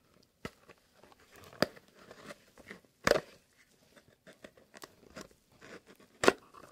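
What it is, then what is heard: Cardboard box. Long painted fingernails, on hands in fingerless gloves, tap and handle a small, hollow, elongated kraft-brown cardboard box printed with "Fox" that is held in both hands. Sharp, dry taps stand out over quieter crinkling and scratching. Each tap dies away almost instantly.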